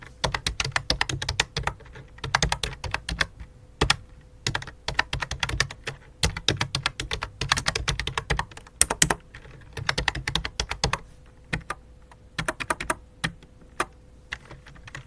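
Both hands type with fingertips and dark nails on a full-size white and light-blue plastic computer keyboard with a hollow plastic body, resting on a black cloth. Bursts of quick, bright, clicky keystrokes with a hollow low thud come in rapid runs separated by short pauses, over a faint steady hum.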